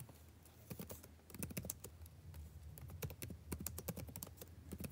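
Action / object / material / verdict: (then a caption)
tap / plastic laptop keyboard / plastic / none. Fingertips tap and type on the plastic chiclet keys of a backlit laptop keyboard, the same keyboard throughout. It makes quiet, short, dry clicks in irregular bursts over a steady low hum, with each tap dying away almost instantly.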